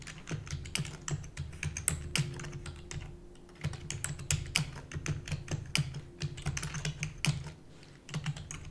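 Long natural nails and fingertips type rapidly on the hollow keys of a full-size black plastic computer keyboard. A dense run of sharp, bright clicks and clacks rises over a low, steady hum, with only brief pauses between bursts.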